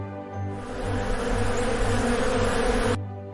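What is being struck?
Nothing is struck.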